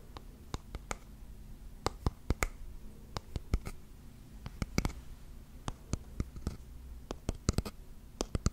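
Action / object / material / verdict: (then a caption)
tap / small wooden box / wood / none. A small rectangular wooden box with grooved edges, held close to the mic, is tapped and scratched with fingernails. Sharp, short taps click out at irregular intervals over a soft scratching texture and a low, steady hum.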